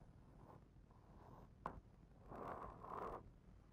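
A fingertip traces an illustration on the glossy paper page of a hardcover picture book lying open on the same spread. Soft, dry, zipper-like friction strokes rasp across the page, broken by a brief sharp tick near the middle, before two longer, louder scratchy passes at the end.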